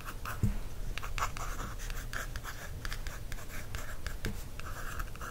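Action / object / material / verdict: scrape / paperback book cover traced with a wooden stick / card / none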